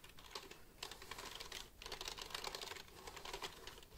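Fingertips tap and click the keys of a black plastic computer keyboard held upright near the mic, making a rapid, bright, clicky clatter with brief pauses. The clicks are crisp and short, centered around 1 kHz with plenty of high sparkle and little low end.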